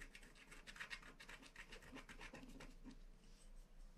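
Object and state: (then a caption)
Wax-coated scratch card being scratched. A wooden stylus scratches across a flat black wax-coated paper scratch art card, filling in the planet at the bottom of the design. Quiet, rapid, dry scratching strokes with a bright, papery rasp repeat over a faint steady low hum.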